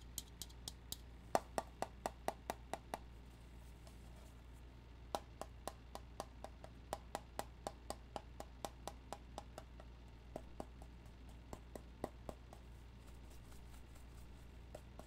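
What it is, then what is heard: Tobacco tin being tapped. A metal tobacco tin is tapped with about forty quick, light taps that each stop almost at once, giving short clicky knocks with a faint mid-pitched metallic tone. The taps come in quick runs, with a pause of about two seconds partway through, over a steady low background hum.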